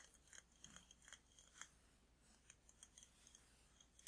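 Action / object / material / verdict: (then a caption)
tap / glass candle jar / glass / none. A large glass jar candle with a glass lid, filled with red wax, is held in both hands and tapped on the glass with fingertips and nails. Quiet, bright clicks and ticks come in an uneven run, each with a brief high glassy ping that dies almost at once. A faint low hum sits underneath.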